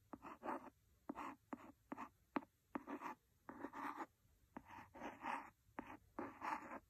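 A wooden pencil scratches the cover of a large, solid red cloth-covered hardcover book. Short, dry, raspy strokes come in quick bursts, some starting with a sharp tick, separated by brief silences. The sound is quiet and close, with a mid-range scratchy texture.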